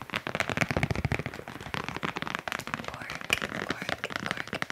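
Fast, aggressive tapping on cork coasters produces a rapid stream of sharp, dry, crackly clicks. Each tap dies away almost at once, with bright high-frequency snap and some low thump underneath.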